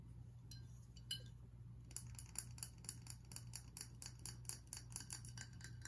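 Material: Glass.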